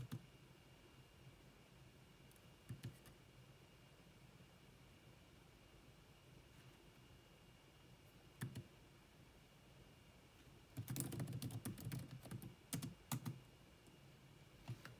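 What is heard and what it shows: Long manicured nails and fingertips rapidly tap the dark plastic chiclet keys of a grey laptop with a hollow body. Sparse, sharp plastic clicks break a quiet background before a dense burst of fast clicking, followed by a few more scattered taps.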